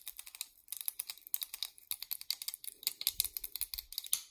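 Long nails tap rapidly on a small, purple, solid molded plastic hair claw clip, making dense, bright, crisp clicks with almost no ring. The taps come in quick bursts with short pauses, and near the end a few soft low thumps sit under them.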